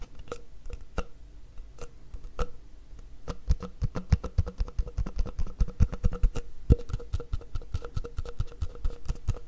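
Fingertips tap along the length of an empty, hollow, mint-green plastic cup held sideways in both hands. Dozens of short, dry, hollow taps fall in an irregular rhythm, sparse at first and then quicker and louder after about three seconds. Each tap has a low thump with faint ringing tones near 500 Hz and 1.3 kHz that die away almost at once.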